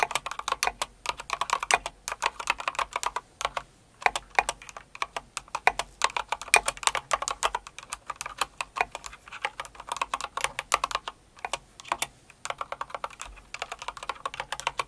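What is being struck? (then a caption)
Plastic mechanical keyboard with plastic keycaps. Rapid typing with long acrylic nails and fingertips of both hands on a full-size light blue and pink Cinnamoroll plastic mechanical keyboard with plastic keycaps. Dense, bright clacky keystrokes come in quick bursts with brief pauses, each click short and dry with almost no low end.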